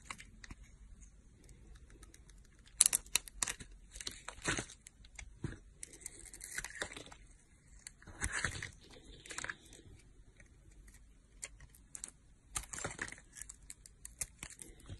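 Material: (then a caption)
Soap. A solid teal soap bar with a pink glitter layer is held in the hand while a metal blade cuts and scrapes pieces off it. Crisp, bright crackling and tearing scrapes come in short bursts, with quiet pauses between strokes.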